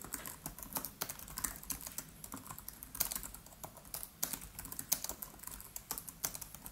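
Fingertips of both hands type rapidly on the black plastic keys of an aluminium-bodied MacBook Pro laptop. A steady stream of quick, crisp, bright clicks with very short decay plays at varying loudness, with a few harder keystrokes standing out.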